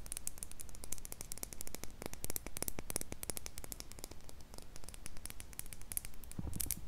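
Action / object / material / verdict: tap / small glass jar with metal lid / glass / none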